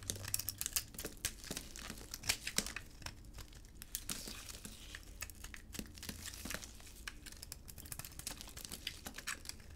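A palm-sized solid rectangular bar of hard, dry soap, yellow outside and cream inside, is held in a black-gloved hand and shaved with a utility blade, cutting flakes off the bar. Dense, crisp scraping and crackling cuts come in quick, bright bursts with sharp, short-lived transients over a faint low hum.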